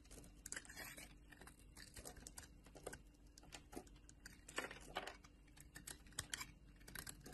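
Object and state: Bar soap being shaved with a blade.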